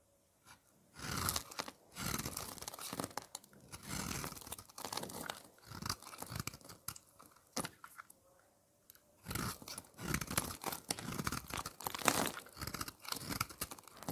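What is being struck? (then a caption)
Bar of soap. A utility blade scrapes and shaves the surface of a thin, flat slab of solid red dry soap, dusted with soap powder and held in the fingers. It makes crunchy, bright scratching and shaving strokes in repeated bursts, with a brief quiet pause near the middle.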